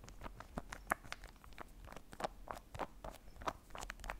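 A long, thin orange candy bar, solid and unopened in its plastic wrapper, is held in the hands and tapped and scratched along its length with the fingernails. A quiet, rapid run of dry clicks and crinkly scratches sounds, with a midrange tone near 700 Hz and bright crackle on top. Each tick stops at once with no ring.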